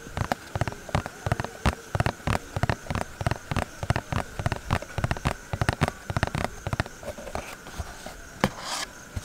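Several fingertips tap quickly on the face and side of a small, hollow, printed cardboard box for an infrared thermometer. The result is a rapid, uneven run of dull, hollow, low-heavy taps that stop almost instantly. A faint steady tone sits underneath, and a brief brighter brush sounds near the end.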